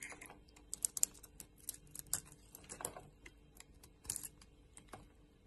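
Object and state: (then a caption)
Bar of soap being carved. A metal blade scrapes and carves flakes off a solid, hand-sized purple-and-white bar of soap held in the hand. It makes a run of short, dry, crisp scraping clicks with bright, high crackle and almost no low end. The sound is quiet and dies away instantly after each cut.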